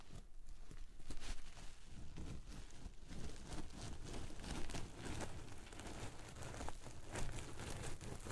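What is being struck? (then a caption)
Sequin-covered fabric cushion. A palm and fingertips stroke and rub across a soft pillow covered in reversible pink and white sequin fabric, flipping the sequins. This makes a steady, quiet crinkling rustle with a low, muffled body and faint bright scratchy flecks throughout.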